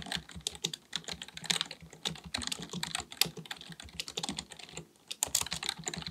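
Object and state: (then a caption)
Plastic computer keyboard being typed on. Both hands type continuously with their fingertips on a black, full-size plastic keyboard with a hollow body, likely mechanical, resting on a desk. Rapid, bright clicking key taps run with a brief pause near the five-second mark before the typing resumes.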